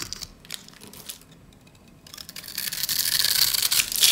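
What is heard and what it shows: A metal utility blade scrapes and cuts scored cubes away from a solid, cream-white rectangular bar of dry soap held in the hands. Sparse, quiet scratchy clicks fill the first two seconds, then the sound swells into a louder, dense, bright crunching and scraping that continues to the end.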